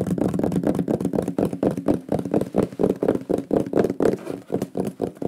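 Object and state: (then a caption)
Wooden plaque. Fingertips and nails tap and knock rapidly on a large, flat, solid wooden shield-shaped pyrography plaque with a burned lion image, held in both hands. The result is a fast, slightly uneven stream of dull, woody knocks centered in the low-mids, each dying away almost at once with little brightness on top.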